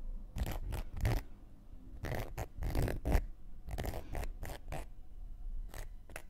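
A round, flat, solid cork coaster is held in one hand while its surface and rim are scratched with a thin wooden knitting needle. A series of quick, dry scratching strokes sweeps up into bright, high hiss over a low rumble, with short pauses between bursts.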